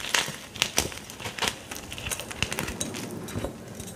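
A solid, dry block of white gym chalk (magnesium carbonate), broken into shards and powder on a dark counter, is crushed and squeezed in the fingers. Irregular bursts of dry, bright crunching and crackling follow, each snap dying away almost at once over a faint gritty hiss.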